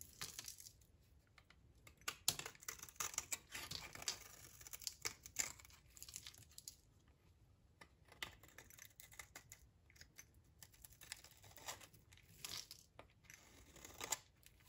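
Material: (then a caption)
Soap. A utility knife blade shaves thin slices from the edge of a solid, dry green olive-oil soap bar, now thinner, held in the hand. Quiet, bright, crisp scraping and crackling come in short bursts of tiny clicks and snaps, like crinkling or tearing, with almost no low end.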